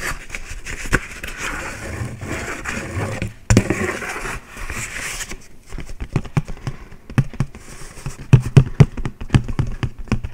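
A thin, round, white disposable paper plate, empty, is held up and tapped with the fingertips. The result is a run of quick, dry, low taps with a brief rustling wash in the first half. The taps then grow sharper and more spaced out toward the end.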